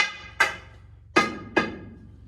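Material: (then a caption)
Rock. A sounding bar taps the rock roof (the "back") of a mine tunnel after a blast, checking for loose hanging rock. Three sharp, ringing taps follow the fading tail of an earlier one, each with a hollow, bright tone around 1.2 kHz that dies away quickly. The hollow ring reveals a hollow spot and loose rock overhead, which is the sound miners do not want to hear.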